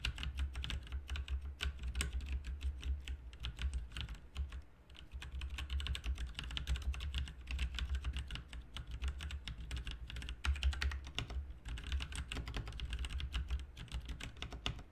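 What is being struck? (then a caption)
Mechanical computer keyboard with plastic keycaps. A full-size backlit plastic mechanical RGB keyboard, with plastic keycaps on a hollow plastic/metal case, is typed on continuously by the fingertips of both hands. Rapid, short clacking keystrokes run throughout with a brief lull near the five-second mark, over a steady low hum around 70 Hz.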